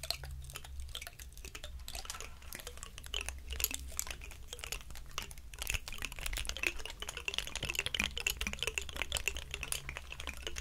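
The scales of a large, dry, woody pine cone are rubbed and scratched with palms and fingertips. This makes a dense stream of quick, dry, bright crackles and rasps over a steady low hum. The scratching runs continuously at a soft level and grows somewhat busier and brighter in the second half.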